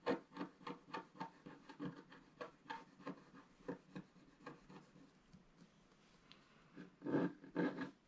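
A pointed wooden stick scratches the coating at the upper right of a flat black wax-coated scratch art paper card lying on a table. A quick, rhythmic series of short dry rasping strokes grows softer and sparser, then two louder, fuller scrapes come near the end.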